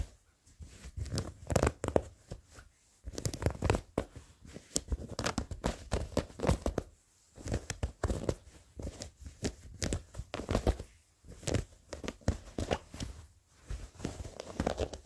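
Faded, worn blue denim jeans with frayed threads are scratched with short fingernails near the seam, giving bursts of dry, rasping scratches. The scratching comes in quick clustered strokes separated by brief pauses, with a soft low rumble underneath.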